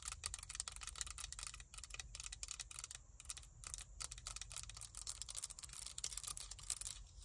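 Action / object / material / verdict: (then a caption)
tap / plastic claw hair clip / plastic / none. Long nails tap and scratch the ridged teeth of a small, hollow black plastic claw hair clip. The result is a rapid string of dry, bright clicks and scrapes with almost no ring, over a faint low rumble.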